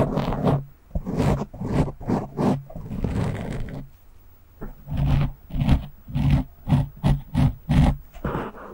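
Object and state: Foam microphone windscreen being scratched.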